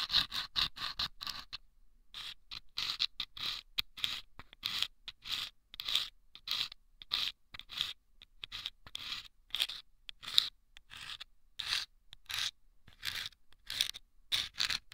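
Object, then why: Small paper tube lined with sandpaper, scraped inside with a thin bamboo pick. A thin bamboo ear pick scratches and scrapes inside a small, hollow, taped paper tube lined with sandpaper, resting on the right ear of a binaural microphone. Dozens of short, gritty, bright scrapes come in quick, rhythmic strokes with almost no low end and a brief pause near the start. Each stroke stops dead with no ring.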